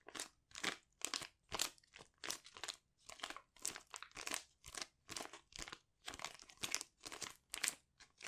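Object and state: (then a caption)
Foil sheet mask packet being crinkled. A small, flat metallic foil sachet holding a sheet mask is held in the hands and squeezed and crinkled with the fingers. It gives a steady series of short, quiet, crunchy crinkling bursts that are bright and high with almost no low end, each dying away quickly.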